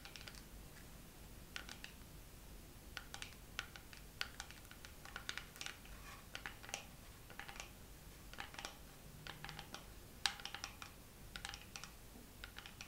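A dermaroller case is tapped slowly with long nails, giving a steady run of light, dry clicks. Each tap is short and bright with almost no ring, landing at an uneven, unhurried pace over a quiet low background hiss.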